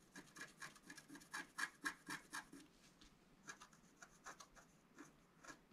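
A wooden stylus scratches and rubs the wax coating in the center of a flat, wax-coated scratch-art paper sheet. About twenty short, raspy strokes come in quick succession, with a bright scratchy hiss and a focus around 1.7 kHz. The strokes are loudest and densest in the first half, then turn quieter and sparser.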